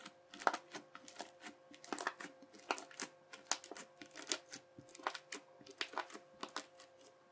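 A yellow plastic knife edge chops repeatedly across a wide sheet of teal, bubbly crunchy slime, giving a rapid series of short, bright crackling crunches and pops. Each chop dies away almost instantly, with a faint steady tone humming quietly underneath.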